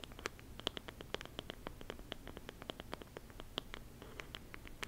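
Fingertips and short-to-medium nails scratch and tap the wood-grain cover of a small, solid, palm-sized closed book-shaped lamp with wooden covers, held in both hands. Many quick, dry clicks and scratchy taps sound in an uneven rhythm, each dying away almost at once, with bright, crisp upper tones over a faint low rumble.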